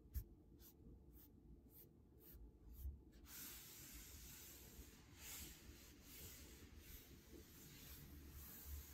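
Grey knit sweater sleeves on the forearms slide and rub along a large, solid, varnished wooden tabletop. Quick, evenly spaced brushing strokes give way after about three seconds to a steady, bright fabric hiss with slow swells, all over a soft low rumble.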